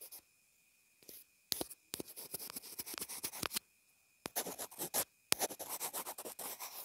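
A pencil tip writes and scratches across a small white plastic inline earphone remote. Short, bright, dry scratches and taps come in bursts separated by brief silences.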